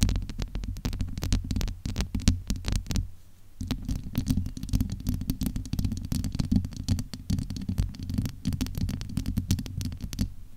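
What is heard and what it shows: Cupped hands and long nails rub and scratch the domed, hollow steel-mesh grille of a large USB microphone. The result is a dense, muffled low rumble full of rapid crackling scratches, with a brief quieter gap near the three-second mark before the scraping resumes.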